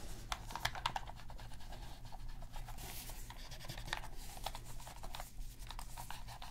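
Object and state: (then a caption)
Plastic game controller being scraped. A black plastic PS3 controller, flipped over and held in gloved hands, has a cotton swab scratched along its plastic seams and underside. The quiet, steady scratching is dotted with sharp, bright clicks and ticks over a low, constant rumble.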